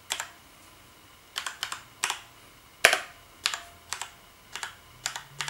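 Fingertips from both hands tap the keys of a black plastic gaming keyboard resting on a bed, giving about 18 crisp, bright clicks in short uneven bursts. Each keystroke is a sharp, dry tick that dies away almost instantly, with no low thump beneath it and quiet gaps between the clusters.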